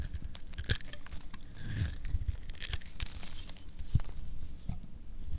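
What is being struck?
Soap bar cut by a metal blade.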